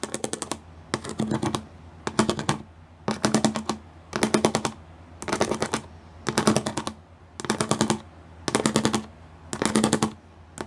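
Fingertips with long nails rapidly tap across a gray plastic studded sheet, several fingers at once. The sound comes in quick bursts of dry, bright clicking, each about half a second long, repeating roughly once per second with short quiet gaps between them.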